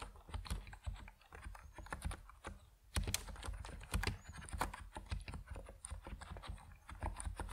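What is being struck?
Plastic mechanical keyboard with PBT keycaps.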